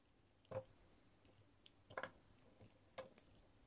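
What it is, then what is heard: Bar soap being cut with a blade. A dark metal blade cuts and scrapes a solid, hand-sized block of green marbled, swirled bar soap held in fingers with pink nails, carving it into faceted chunks. Quiet, crisp snaps and soft crunchy clicks land at irregular intervals, each dying away almost instantly. A thin, bright scrape comes near the end.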